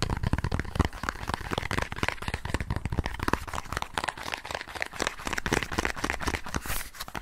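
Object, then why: Small cardboard box. Fingertips and nails tap and scratch a small green and white cardboard box, probably holding cards, held in both hands. Dense, rapid, dry tapping and crinkly scratching run throughout at a steady level, each contact short with almost no ring.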